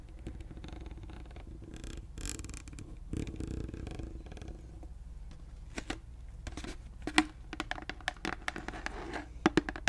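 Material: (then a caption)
Plastic. A large, clear plastic Listerine bottle full of liquid has its cap and body tapped with long nails. The first half is soft scratching and rustling against a low steady hum, then sharper, brighter clicking taps come more often toward the end.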